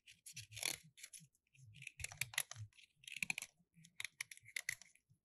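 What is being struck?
Small plaster block scraped with a metal knife blade.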